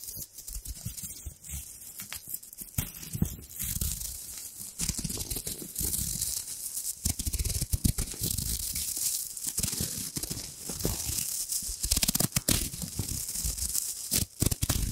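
A small, thin gold embossed textured foil wrapper is held beside the mic while fingertips and long nails crumple and crinkle it. Dense, continuous crackling and crinkling is heard throughout, with a bright, hissy top and soft low thumps of handling underneath.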